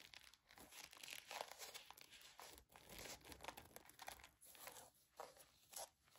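Long nails and fingertips scratch and rub the sequin bow and glitter ears of a sequin and glitter fabric mouse-ear headband. The result is a quiet, dense stream of fast, bright, crinkly scratches that swell and fade in short bursts, with almost no low end.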